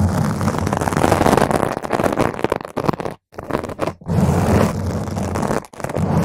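Long pointed green nails from both hands scratch all over a large, round purple foam windscreen, soft and porous, covering a microphone's hollow grille. The sound is a dense, rough, continuous scratching and crackling with a heavy low rumble and little high end. It drops out twice briefly near the middle before resuming just as thick.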